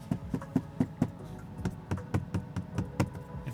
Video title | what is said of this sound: Tesla build quality is IMPRESSIVE | you can hear how hollow it sounds